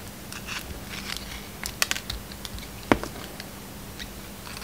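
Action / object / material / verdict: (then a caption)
scrape / bar of soap cut with a blade / soap / none. A utility knife blade slices pieces off a solid, hand-sized bar of soap with a red heart-decorated coating and a yellow-white striped inside. The result is a quiet series of short, crisp scraping and crunching cuts with bright edges, and one sharper snap near the end of the third second.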